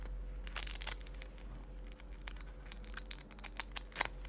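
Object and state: Velcro strap on a synthetic fabric jacket.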